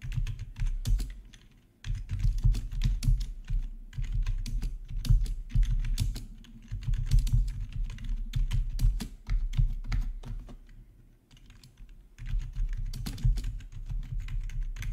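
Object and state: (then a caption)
Plastic membrane keyboard. Fingertips of both hands type steadily on a full-size black plastic membrane gaming keyboard with RGB backlight, resting on a marble surface. Rapid, dense keystrokes give hollow, low plastic taps through the hollow housing, with brief pauses near 2 seconds and 11 seconds.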